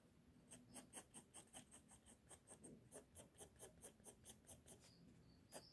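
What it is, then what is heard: Pencil strokes on a paper sheet. A pink mechanical pencil scratches a rapid, steady series of short strokes across a flat sheet of drawing paper. Each stroke gives a brief, dry, bright scratch with a faint low rustle underneath, and the strokes come at an even pace before a final louder stroke.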